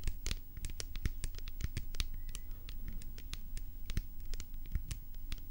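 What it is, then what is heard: Plastic pump bottle. Long painted nails scratch and tap quickly on a hollow white plastic hair-product bottle with a pump top, held in the hands. The result is a steady, dense run of crisp, bright clicks and scratchy strokes over a soft, low, hollow thump, with each hit dying away almost at once.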